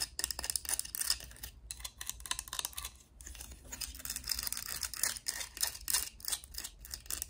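Long acrylic nails scratch and tap along a hand-held, mostly hollow, pink and purple hard plastic Littlest Pet Shop cat-tree playset with a small figure perched on it. The result is a quiet, steady stream of bright, crisp clicks and scratchy rasps, each tap dying away almost instantly, with very little low end.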